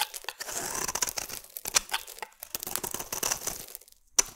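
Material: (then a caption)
Soap. A metal utility blade scrapes a solid white oval bar of soap into fine shavings. Dry, bright scratching and crunching strokes come in quick bursts with little low end, pausing briefly before a sharp final scrape.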